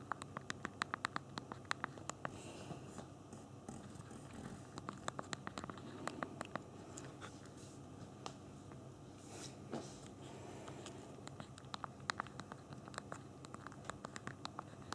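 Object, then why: Phone plastic QWERTY keyboard. Both thumbs type rapidly on the backlit hard plastic QWERTY keyboard of a small handheld BlackBerry Q10 phone held in both hands. The result is a dense stream of small, sharp click taps with very short decay over a faint low background hiss.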